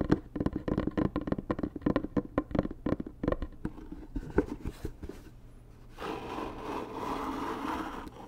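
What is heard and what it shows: Long nails and fingertips tap quickly on the top and sides of a hollow, medium white rigid cardboard gift box with gold Dior lettering, held close, making dry, hollow knocks. The taps thin out toward the middle. For the last couple of seconds they give way to a steady, brighter scratching across the cardboard.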